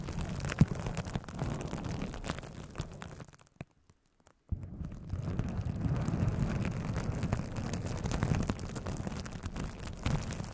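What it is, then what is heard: Plastic bubble wrap being scratched. A plastic bubble wrap cone covering a microphone is scratched and rubbed with long nails and fingertips, the hands staying on the wrap. It makes a dense, muffled, low crackling rumble with scattered sharper ticks, briefly going silent for about a second before the rubbing resumes just as steadily.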